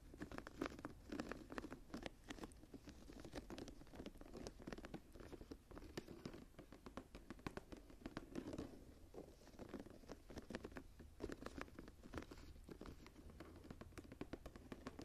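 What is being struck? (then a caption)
Embossed leather journal cover. An embossed leather journal stands tilted up on its edge while the long nails of one hand scratch and tap its textured leather cover and border. The result is quiet, continuous dry scratching and soft, rapid taps, with a low-mid body and brief bright clicks.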